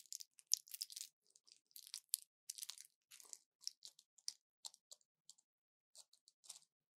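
A small orange plastic blister pack with foil backing, full of pills, is held in one hand and tapped with long nails. Sixteen quiet, bright, crinkly clicks and crunches come in irregular bursts, each stopping almost instantly with no low end.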